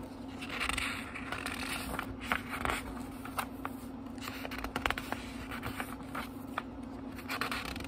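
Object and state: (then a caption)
Paper book pages being flipped. Fingertips quickly flip the thin paper pages of a small, thick book. The clip is a continuous dry rustle with many crisp, bright flicks as pages snap past, over a faint steady low hum.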